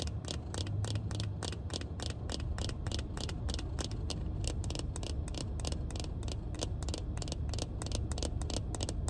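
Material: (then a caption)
Plastic. Black plastic-frame sunglasses held in the hand have their frame and lenses tapped and scratched with long red nails, making a rapid run of short, sharp clicks with bright edges. The clicks sit over a steady, loud low rumble that fills the whole clip.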